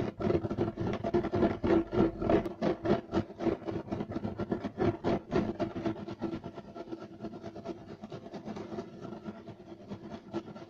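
Both hands scratch fast with short nails and fingertips across a flat, solid, beige striped woven loop-pile carpet. Rapid, rough rasping strokes come at about 3 to 4 per second, with a dry, mid-toned texture centered low-mid. The strokes are loudest and most distinct in the first half, then soften into a quieter, more blurred scratching.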